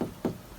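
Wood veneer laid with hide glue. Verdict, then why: Tight. Knocks on a previously lifted spot of hammer-veneered ray-pattern wood veneer laid with hide glue, after it was rewetted, heated, clamped under a heated block and left overnight. Three short, dull, low-pitched knocks die away quickly with no hollow ring. The veneer is down and not lifting.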